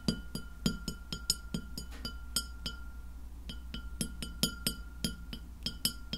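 Long fingernails tap a white glass plate lying flat near the mic, making a quick, uneven run of bright, glassy clinks. Each tap dies away almost at once, leaving a faint high ring over a steady low hum.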